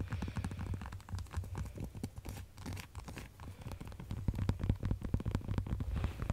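A pink, hollow plastic light-up skull, held close, is tapped and scratched with long acrylic nails. Quick, irregular clicks and scraping strokes sit over a dull low-pitched hollow thump, with each tap dying away almost at once. The tapping grows a little louder toward the end.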